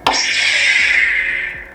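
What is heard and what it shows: A single tap on an aluminum lightsaber hilt gives a bright metallic ring, concentrated above 2 kHz with a pitch near 887 Hz. The ring decays over about 1.4 seconds, and the clear ring confirms the hilt is aluminum rather than plastic.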